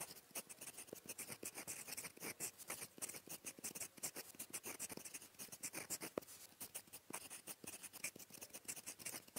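A gold metal fountain pen nib, held at the fingertips, writes blue Korean handwriting across a flat, thin sheet of lined paper. The result is a quiet, steady run of fast, bright, dry scratches and faint squeaks, with short strokes following each other in quick bursts.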